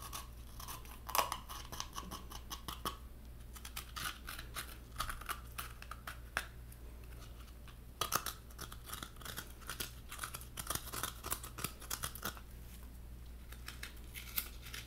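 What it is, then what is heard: Halved coconut with white flesh. Fingernails tap and scratch the white flesh lining the hollow shell of a halved coconut. Quiet, dense, dry ticks and scratchy bursts with bright edges come in irregular clusters over a steady low hum. Each sound stops almost at once with no ring.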